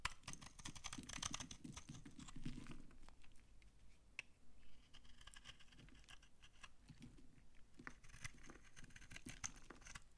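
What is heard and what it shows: A utility knife blade repeatedly scrapes a solid, dry brown laundry soap bar held in the hand, shaving crunchy flakes onto a pile. The result is a steady run of quick, dry crackling scrapes with bright crisp edges over a soft low rustle, each stroke dying away almost instantly.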